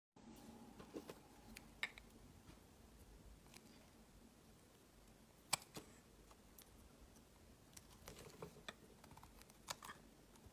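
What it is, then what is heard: Glycerin soap bar being carved. A solid rectangular translucent pink glycerin soap bar, held in the hand, is shaved and carved with a utility knife blade, and the flakes fall onto a woven mat. Soft, bright scraping and cutting from the metal blade is broken by sharp, quick clicks, with a low hum running underneath.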